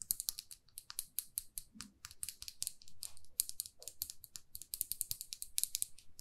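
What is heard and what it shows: Long fingernails tap and scratch a small glossy red lacquered lipstick tube with a silver band, held in one hand. Quick, bright, clicky taps come in a steady irregular stream, like fast typing. Softer scratchy swishes fill the gaps between them.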